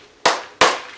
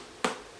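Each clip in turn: First: Two dry, papery knocks that die away fast: a fully dried luffa gourd, hollow inside. Second: A single short, dull knock on a luffa gourd; it dies fast, sounding full of wet pulp rather than hollow.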